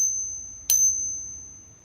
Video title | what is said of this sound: Silver Coins and UFC Fights! | it just hurts your ears it sounds like a whiny mosquito